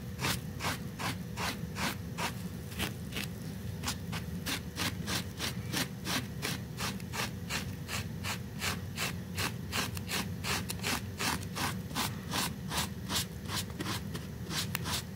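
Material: Fabric.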